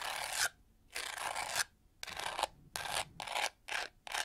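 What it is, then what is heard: Plastic hair brush scratched with nails. Long nails scratch and tap across the pyramid-textured, pink-gold studded plastic back of a handheld detangling hair brush. The result is a series of dry, bright rasping bursts with quiet gaps between them and almost no low end.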